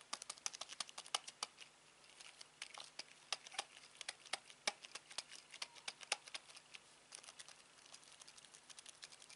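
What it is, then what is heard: Plastic TV remote control. Fingertips and a thumb repeatedly press and tap the rubber buttons of a black plastic Samsung TV remote held in the hand. The result is a rapid, irregular stream of dozens of short, dry, bright clicks and taps that die away instantly, over a faint steady low hum.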